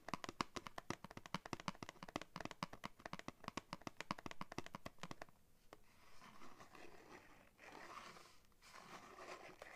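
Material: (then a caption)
Paperboard. Fingernails tap quickly and steadily on a printed paperboard backing card from a cardboard blister pack held in both hands, making dense, dry clicks for about five seconds. The tapping then gives way to soft, bright scratching and scraping as the nails drag across the card's surface.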